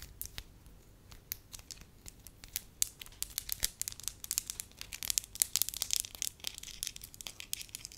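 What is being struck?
Soft wax sheet.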